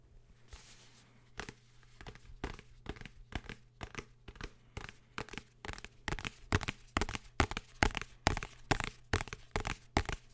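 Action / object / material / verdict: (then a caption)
tap / hardcover book / cardboard, paper / none. Fingers tap and scratch on a blue hardcover book, making about thirty short, dry taps with crisp scratching that grow louder and quicker toward the end. A faint steady low hum sits underneath the taps.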